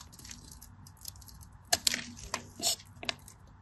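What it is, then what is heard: Dry soap bar. A craft knife blade scrapes and cuts into the scored surface of a solid cream bar of dry soap held in the hand. Soft, bright scratching runs throughout, broken by several sharp, crisp crackling snaps that die away almost instantly.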